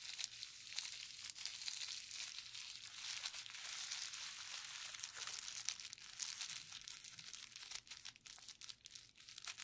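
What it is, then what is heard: Plastic bubble wrap sheet. Gloved fingertips press and rub across a clear plastic bubble wrap sheet with hollow air bubbles, painted blue and yellow. The result is a quiet, continuous bright crinkling and squeaky rubbing with dense tiny crackles, almost all in the high range and with no low end.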